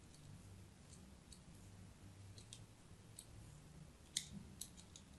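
A thin metal blade scratches diagonal grooves into the surface of a hand-sized, solid white bar of soap held in the hand. Quiet, crisp, bright scraping clicks sound at irregular intervals over a low, steady hum. The sharpest and loudest scrape comes near the end.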